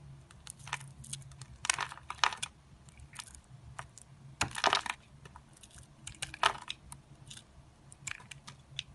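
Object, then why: Bar soap cut with a knife blade. A solid purple and cream Palmolive bar soap is held in the hand and carved with an orange-handled utility knife blade. The blade makes a run of crisp, dry scrapes and cuts, short bright crackles that cluster into denser bursts over a quiet low hum.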